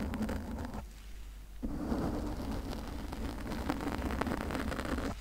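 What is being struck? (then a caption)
Foam microphone windscreen. Long nails scratch a pink foam windscreen on a condenser microphone with both hands, producing a dense, muffled scratching and rustling with a heavy low rumble. The sound drops to a quieter stretch partway through, then returns just as busy and continuous until the end.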